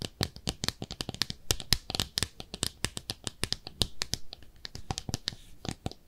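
A small, hollow, empty pink speckled ceramic soap dish shaped like a clawfoot bathtub is held in both hands and scratched and tapped with long manicured nails. A rapid, steady series of short, dry clicks and taps follows, each with a bright, crisp top and almost no ring.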